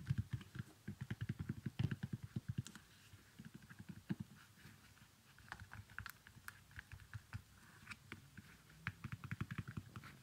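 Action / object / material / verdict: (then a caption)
tap / small leather sandal / leather / none. Fingers handle the velcro strap of a small leather baby sandal while nails tap its sole. The result is quick bursts of soft, dull clicks and taps with low thuds and faint bright ticks, separated by quiet pauses.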